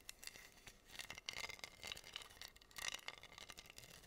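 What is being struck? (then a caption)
Wooden board covered in acrylic rhinestones, scratched with fingernails. Long nails scratch across a flat, solid wooden heart board covered in pink acrylic rhinestones. The result is a quiet, bright, crinkly scratching made of rapid tiny clicks and ticks, with a faint high ring from the gems and almost no low end.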